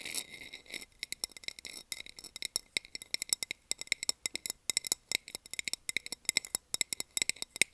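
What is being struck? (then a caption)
Small clear plastic container lid. A small, round, empty clear plastic container lid with a textured surface is held in the hand and tapped and scratched with long nails. A brief scratchy hiss at the start gives way to dozens of quick, dry, bright clicks in an uneven rhythm. Each click stops almost instantly, with no low-end body.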